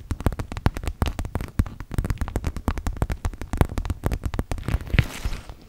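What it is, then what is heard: Clear PVC makeup pouch. Long acrylic nails tap and scratch rapidly on a small, clear PVC zip makeup pouch with pink trim, hollow and apparently empty and held in both hands. The result is a dense stream of short, dull, crackly taps with a soft plasticky rustle, mostly low and muffled, each dying away almost instantly.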